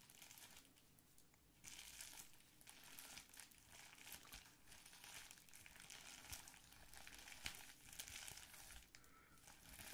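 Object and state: Plastic bubble wrap sheet.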